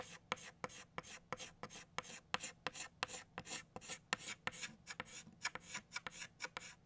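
A hand traces petals with an orange chalk stick on a flat black chalkboard, producing about two dozen short, quick scraping strokes. Each stroke is a dry, bright rasp with little low end that stops almost instantly.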